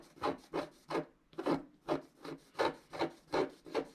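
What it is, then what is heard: Scratch-art card (wax-coated paper) scraped with a stylus. A wooden stylus scratches dense strokes across a flat scratch-art card of black wax-coated paper while the other hand steadies the sheet. Eleven short, dry, rasping scrapes follow one another at an uneven pace, centered in the low-mid range with a bright papery edge.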